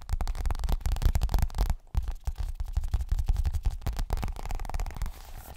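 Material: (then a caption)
Coated fabric. A hollow, pink leopard-print zippered toilet bag, a fabric cosmetic pouch probably of coated fabric, is tapped quickly with fingertips and nails. The result is a dense run of soft, dull, bass-heavy thumps with short decays and a brief pause partway through.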